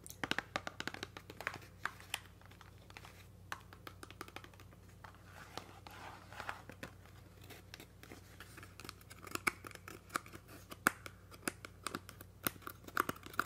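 A small red Colgate toothpaste box, made of hollow thin cardboard with the tube inside, is held in both hands and tapped and scratched with fingertips and nails. Quiet, sharp, dry taps mix with crinkly scratching and light rustling over a faint low steady hum. The taps grow more frequent and louder toward the end.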